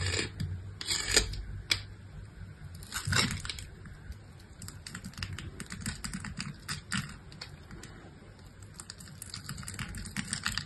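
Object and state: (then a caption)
Bar soap scored with a blade. A utility-knife blade scrapes and scores the surface of a solid pink bar of soap with a scored grid pattern, held in the hand. Rapid, crisp, bright scratching clicks come in dense bursts over a low, soft rumble, with a few sharper snaps standing out.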